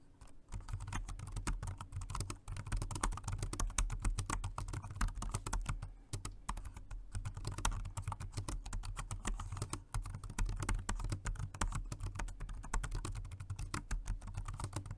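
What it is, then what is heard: Plastic keyboard being typed on. Continuous fingertip typing with both hands on a dark grey plastic Jelly Comb multi-device keyboard, a rechargeable dual-mode 2.4G wireless and Bluetooth model, resting on a white desk. A dense, unbroken run of soft, short key clicks and clacks fills the clip with only brief pauses, over a steady low hum.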